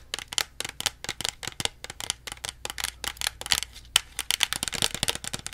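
Long nails tap rapidly on the plastic label and body of a small plastic Pepsi bottle held beside the face. The result is a dense run of bright, crisp clicks with almost no ring and little low end. The taps come in quick uneven bursts over a faint low hum.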